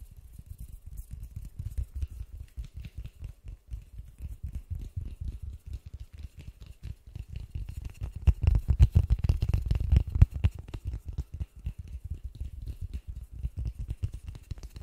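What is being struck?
Polystyrene foam ball.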